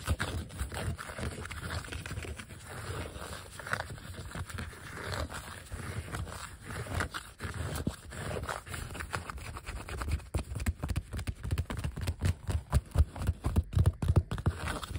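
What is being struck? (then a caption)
Vinyl sticker sheet. Fingertips and nails scratch and tap over the cut letter shapes on a thin, solid, flat white vinyl sheet of die-cut letter stickers lying flat. The first half is a soft, low, rumbly scratching. In the second half, quick, irregular, sharper taps and scrapes come through more strongly.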